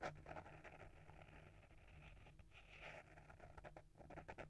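A small, solid hardcover book with a paper-wrapped board cover is held in the hand while short fingernails and fingertips scratch and tap across the cover. The result is a quiet, close run of dry scratching and soft, dull taps with a steady low hum underneath, each tap dying away almost instantly.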